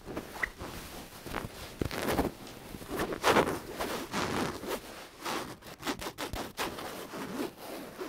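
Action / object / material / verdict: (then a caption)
scrape / stuffed cotton fabric pillow / cotton fabric / none. Long nails scratch and squeeze a soft, stuffed, white cotton cat-shaped pillow with a cat print on its fabric. The result is a quiet, continuous run of dry, zipper-like fabric rubbing and scraping, with brief bright scratchy strokes over a soft rustle.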